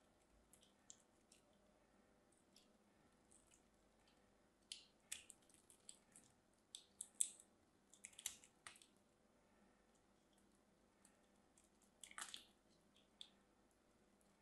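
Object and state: Bar soap being carved.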